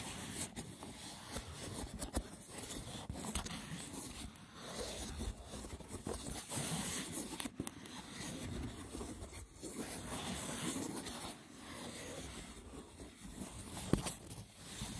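Fingertips scratch and rub across the woven top of a rectangular, hollow, lidded braided seagrass wicker box. The result is a continuous, rough, crackly scraping texture with a dry low body and bright hiss, broken by a few sharp light taps.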